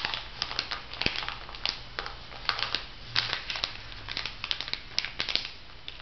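Fingertips and nails press, rub and crinkle the clear plastic film of a small packet of two foam makeup sponges sealed over a white paper card, lying on a table. Quick, bright crackles and crinkles snap in steady bursts over a soft, hissy rustle, each one dying away almost at once.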